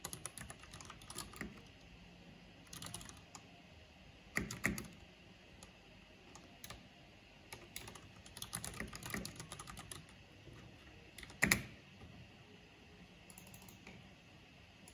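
Long-nailed fingertips type and click on a black plastic-keycap mechanical keyboard with a purple backlight. Irregular flurries of bright, sharp key clicks come with quiet gaps between them. A few louder, harder clacks stand out, and each sound cuts off almost instantly.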